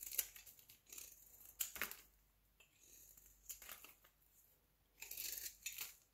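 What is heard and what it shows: A solid square beige soap cube held in the palm is shaved with a utility knife blade. Quick, bright scraping and crinkly cutting strokes come in bursts with short pauses between them. The sound has almost no low end and each stroke stops dry, without ring.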